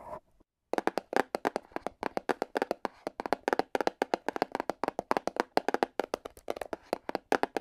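A small, hollow black printed cardboard box for an LED light is held in the hand and tapped rapidly with AA battery tips worn on the fingers. After a brief faint sound and a short pause, about 45 quick, dry, hollow taps follow in an uneven rhythm. Each tap centres around 730 Hz and dies away almost instantly, with little deep or bright content.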